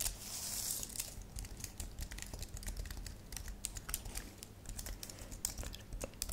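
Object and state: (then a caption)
Plastic computer keyboard. Fingertips with long nails type rapid taps on a white and lilac plastic low-profile computer keyboard. Quick, bright clicks and clacks follow one another closely over a steady low hum, with a brief hissy, crinkly wash near the start.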